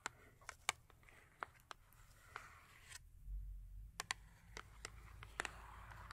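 Long acrylic nails tap on a small cardboard Yardley soap box, full with a soap bar and turned to show its large face. The result is a series of sharp, dry clicking taps with a bright ring centred near 2.3 kHz, each dying away almost instantly. A faint low rumble sits underneath, with a brief quieter gap before the tapping resumes.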